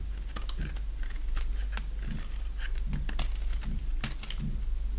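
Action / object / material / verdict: scrape / bar of dry soap / soap / none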